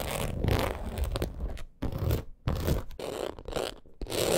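Long acrylic nails scratch quickly over the scaled texture of a black crocodile-embossed leather purse. Bursts of dry, crunchy scraping with a low rumble are broken by short pauses. The rasping stops and restarts several times over a few seconds.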